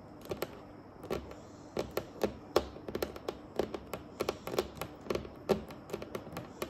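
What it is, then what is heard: Varnished wooden table tapped with nails. Long acrylic nails on both hands tap a large, solid, dark and glossy varnished wooden tabletop in a typing-like pattern. The result is a quiet, irregular stream of short, dry clicks that die away almost instantly, with a woody knock around 355 Hz and a faint bright tick on each tap.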